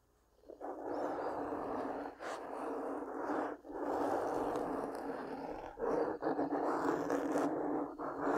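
Long pink-painted nails scratch and rub a soft black foam windscreen over a large microphone. The result is a dense, close, muffled scratching rustle, concentrated in the low-mid range, that runs in long strokes broken by brief pauses.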